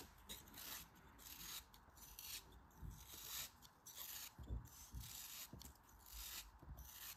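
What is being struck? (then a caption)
Kinetic sand chunk. A faceted, solid chunk of pink kinetic sand shaped like a cone is held in the fingers while slices are shaved off it with a utility knife blade. The result is a crumbly, rasping scrape with bright hiss and low soft thuds. The strokes come in repeated bursts across the clip.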